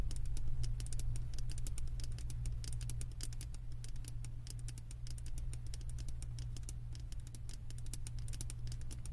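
Long acrylic nails tap rapidly on the thick glass base of a wax-filled glass candle jar from below. The taps are quick, irregular, bright and clicky, and each one dies away almost at once. They sit over a steady low hum throughout.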